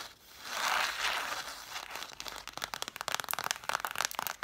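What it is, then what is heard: Stack of cloth-bound hardcover books. Long nails scratch along the spines of a stack of red cloth-bound hardcover books, making a soft, dry rasping hiss for the first two seconds. This gives way to quick, sharp, bright taps on the spines that click with almost no ring. The taps repeat at an irregular fast pace until the end.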